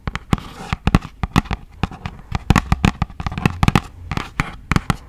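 A hollow, yellow printed thin cardboard product box is tapped and scratched with long acrylic nails. The result is a rapid, irregular series of sharp, dry clicks and taps with brief scratchy rustles between them, each hit ending almost instantly with a low, hollow thump beneath.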